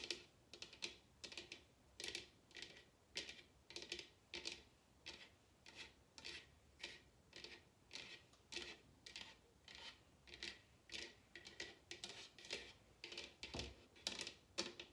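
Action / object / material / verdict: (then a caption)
tap / upturned bamboo bowl / bamboo / none. Long red nails tap the sides of a large, hollow bamboo wooden bowl turned upside down. Quick, uneven bursts of dry, bright clicking taps repeat throughout, each carrying a faint hollow tone near 350 Hz. The taps are quiet and die away almost instantly.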